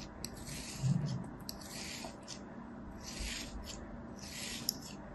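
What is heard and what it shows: A palm-sized solid kinetic sand sphere is crosshatch cut and scraped with a thin metal knife held in the fingers. Soft, grainy scraping strokes come in bright hissy bursts over a low rumbling bed, with a small sharp click near the end.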